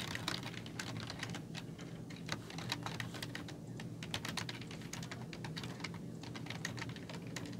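Fingertips with long nails type steadily on a black plastic computer keyboard with hollow keys. The result is a rapid, continuous run of bright, hollow clicks and clacks over a low, steady background rumble.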